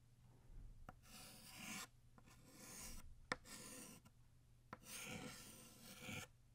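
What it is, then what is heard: Chalk writing on a chalkboard. A white chalk stick writes the cursive word "Happy" and starts "New" on a flat black chalkboard. Long bright, scratchy rasping strokes come in bursts, with three short, sharp taps of the chalk between them.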